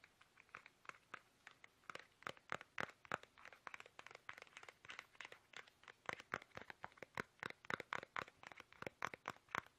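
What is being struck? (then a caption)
Soft plastic toothpaste tube. Fingertips tap fast on a small, soft, hollow, squeezable plastic toothpaste tube held upright in both hands. The result is a quiet, steady stream of dozens of short, dry, crinkly plastic taps that stay mid-to-bright in tone, with almost no low end and no ring after each hit.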